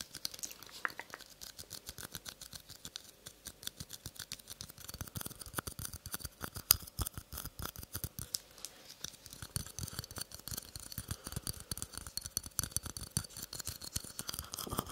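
Long nails scratch and tap the outside of a small, hollow, empty green polka-dot paper cup held in one hand close to the mic. The result is a quiet, continuous stream of rapid, dry clicks and crisp scratching with a bright edge and almost no ring, over a faint steady hum.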